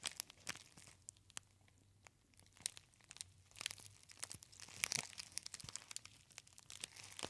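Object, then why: Metallized foil tea bag pouch. Fingertips crinkle and squeeze a small, empty-looking gold foil tea bag, a metallized pouch with a paper label, held close to the ear. Quiet, bright crackles and crisp crinkling snaps come in irregular bursts, with denser, louder clusters toward the middle and a short, dry decay.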